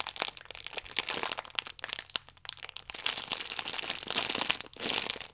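A plastic-film-wrapped stack of paper baking powder sachets is squeezed and scratched by fingertips and long nails. The result is a dense, bright crinkling with many quick crackles, plus a few short pauses where the sound drops away.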